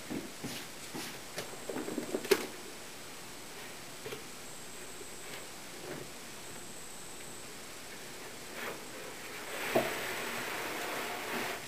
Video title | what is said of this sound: Making a Veneered Sideboard Part 5-3, Curly Maple Veneering: Andrew Pitts~FurnitureMaker | tapping the veneer see if there's any Hollow spots look like we got a pretty good Bond on this one